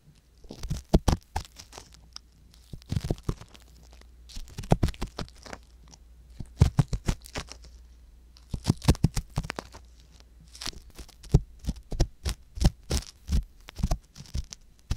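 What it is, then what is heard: Silicone ear scratched with an ear pick. A thin wooden ear pick with a small metal tip, held in fingers with long yellow nails, scratches and probes the canal of the soft silicone ear on a white box-shaped binaural microphone. Close, dry crunching and crackling scrapes come in quick clustered bursts with brief pauses between groups, over a steady low hum.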